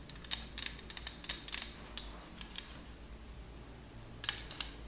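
Long nails tap and scratch on a thin purple plastic CD case holding a Verbatim disc, making about fifteen quiet, bright, clicky taps with very short decay over a soft scratchy rustle. The two sharpest taps come near the end, over a steady low hum.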